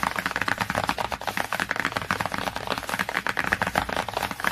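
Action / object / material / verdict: tap / cardboard hardcover book cover / cardboard / none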